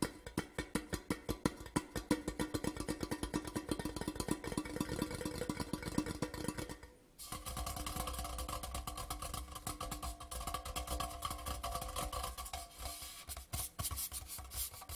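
Long nails on both hands rapidly tap and scratch the printed surface of a large grey Port Charlotte whisky tube, a hollow metal tin lying on its side on a cloth. For about seven seconds, a fast stream of sharp, hollow taps rings with a low metallic tone. After a brief pause, a denser, scratchier rattling continues to the end.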